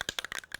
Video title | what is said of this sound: Creations in Clay T Rex head painting - Clay tutorial for beginners | shake it up you can hear the the ball in there